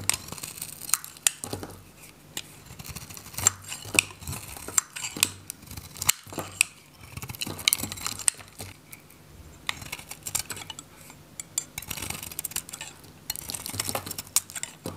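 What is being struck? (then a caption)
Bar soap shaved with a metal blade. A hand-held, solid, orange bar of dry, varnished Godrej No.1 soap is shaved with a metal utility knife that scrapes flakes off its face. Dense, bright, crisp scraping and crackling comes in repeated strokes, with sharp ticks and very little low end. Each scrape stops dry, with no ringing.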